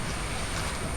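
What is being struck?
Nothing is struck.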